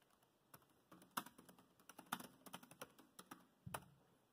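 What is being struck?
Plastic laptop keyboard.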